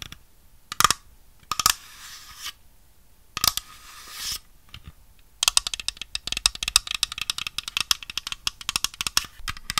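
A small, hollow white plastic dollhouse grand piano is held in one hand while long red nails tap and scratch it. A few sharp clicks and brief scratching strokes come first, then a dense run of rapid, bright tapping clicks with a light hollow plastic tone.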